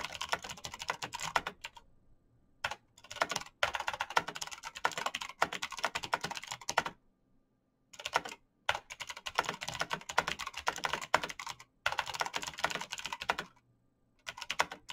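Bare fingertips type fast on a black plastic mechanical keyboard with clicky switches, producing dense bursts of sharp, dry, bright clicks. The typing pauses briefly a few times before resuming, and each click dies away almost instantly.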